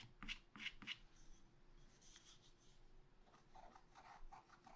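A wooden stylus scratches flower details into a black wax-coated page of scratch art paper in a spiral pad. Three sharp, bright scratching strokes come first, followed by quieter, lighter rasping strokes over a faint steady low hum.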